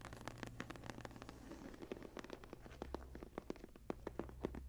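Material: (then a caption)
Leather. Long nails scratch across the textured cover of a closed brown embossed leather journal lying flat, making a quiet run of dry, quick scratching strokes. The short, rough scrapes come in irregular bursts over a steady low hum.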